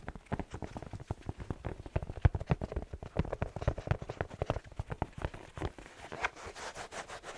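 A black and red plaid slipper with a fleece lining and a rubber sole is held hollow in the hand while fingertips tap rapidly on the sole. A fast, uneven run of soft, low, muffled thuds follows, each stopping at once with no ring, and the taps grow lighter toward the end.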